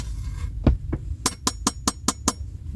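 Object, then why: Stamped metal license plate. Knuckles knock on a metal custom license plate, just unboxed from the mail and said to come from a 1984 Cutlass, over a low background hum. A couple of duller thuds are followed by a quick series of bright, short metallic clinks.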